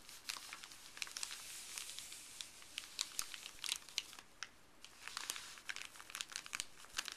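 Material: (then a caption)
Paper. Fuzzy gloved fingers rub and crinkle a flat, thin, empty printed white paper pharmacy bag resting on a wooden table. A steady, bright crinkling hiss runs throughout, broken by many sharp, quick crackles and snaps, with almost no low end.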